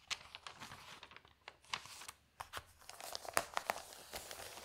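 Hands with long nails grab and turn the thin newsprint pages of an open paper newspaper lying on a table. Sharp, irregular crinkling rustles and crisp snaps of paper come in quick bursts, bright and dry with almost no low end, between quieter, soft handling sounds.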